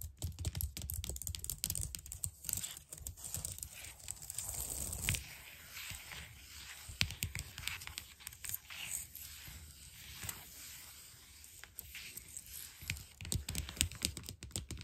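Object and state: Plastic computer keyboard.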